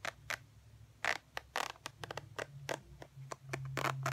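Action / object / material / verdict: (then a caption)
scrape / faux leather wallet / faux leather / none. Long fingernails scratch along the edge and textured surface of a tan faux ostrich leather wallet, producing a series of short, bright, dry scratching strokes. The strokes come in quick irregular bursts over a faint low hum.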